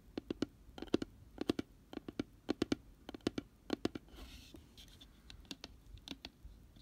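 Fingernails tap and scratch the white paper-lined bottom inside an open, empty, round cardboard box with a pink rim. Quick clusters of sharp, dry clicks repeat, with a softer papery scratching near the middle before the light tapping resumes.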